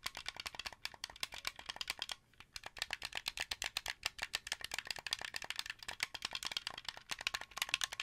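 Fingers and nails tap and click the buttons and thumbsticks of a translucent blue, hollow plastic Xbox 360 controller. The result is a quiet, rapid, uneven run of dry, bright plastic clicks with almost no low end and no ring, broken by a brief pause just after two seconds.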